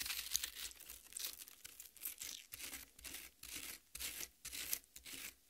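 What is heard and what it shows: Long red nails scratch and scrape the wet red flesh of a half watermelon resting on a plate. A series of short, bright, wet scraping and crackling strokes is heard, separated by brief pauses, with almost no low end.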